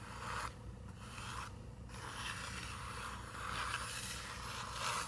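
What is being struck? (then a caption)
Paper picture book page. Long nails scratch across a paper page of an open picture book with a tree illustration. The result is a dry, continuous papery scraping with bright, hissy texture, rising and fading in strokes over a low steady hum.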